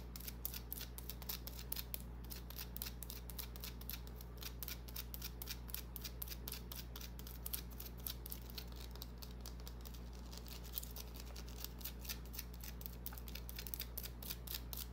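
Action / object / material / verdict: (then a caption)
scrape / small bar of soap / soap / none. A small, solid white bar of soap with an embossed pattern, held in the palm, is scratched with long nails. Rapid, irregular bright scratching clicks repeat throughout over a steady low hum.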